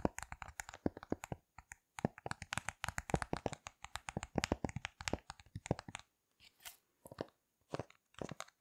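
A rainbow heart-shaped silicone push-pop fidget toy with thin, hollow bubbles is held in both hands and pressed and tapped with fingertips and long red nails, popping the bubbles. The result is a quick run of short, dry, crunchy pops and clicky taps that stop instantly with no ring. The pops come in dense bursts with brief pauses, then turn sparser and more spaced out toward the end.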